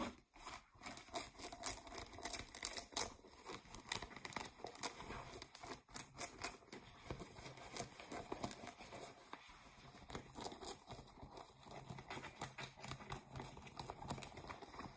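Distressed, ripped blue denim jeans have their waistband and seams scratched with long nails, and the fabric is gathered and bunched in the hands. Dense, quiet bright scratches and rough fabric rustles come in quick overlapping bursts, louder in the first few seconds and then settling into softer, steady scraping.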